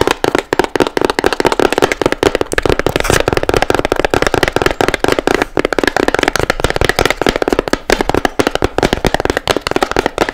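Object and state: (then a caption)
Fabric-covered shell box. Long nails tap fast and hard on a small hollow box with blue fabric sides and a seashell lid. The result is a dense, continuous run of dry, crisp clicks with almost no ring, centered in the midrange and lightly dulled by the fabric.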